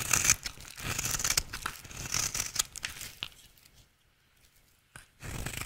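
A rectangular, solid, dry yellow soap bar held in the hand is shaved into curls with a utility knife blade. Crisp, bright scraping and crackling cuts come in quick, uneven strokes. They fade to near silence for about a second before the shaving starts again.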